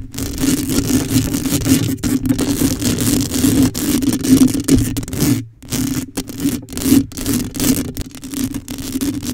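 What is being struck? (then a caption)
Metal mesh microphone grille. Long acrylic nails on both hands scratch the black metal mesh grille of a microphone, a hollow dome. The result is dense, continuous rasping and scraping across the whole range, with a steady low-mid tone humming underneath. There is a brief pause near the middle before the scratching resumes in quick bursts.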